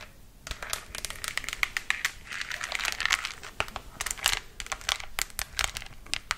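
Long acrylic nails tap and scratch the face and head of a life-size, hollow-looking black glossy plastic mannequin head held close to the mic. Rapid, irregular bright clicks ring over a constant crisp, crinkly scratching hiss. The sound is mostly high-pitched with very little low end, and each tap dies away almost instantly.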